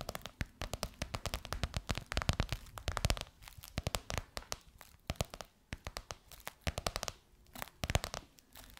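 Long white nails tap and scratch across a gold crocodile-embossed faux leather pillowcase over a soft pillow. Rapid clusters of crisp, dry taps and crinkly scratches alternate with brief pauses, each hit bright at the top with a soft low thump beneath. Every hit stops dead with no ring.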